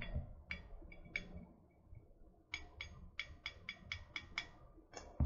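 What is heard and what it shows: Long nails tap and scratch the side of a tall, hollow, printed metal water bottle. The result is a series of short, bright metallic clicks with a faint ring near 2 kHz, separated by soft scratching, over a low background rumble.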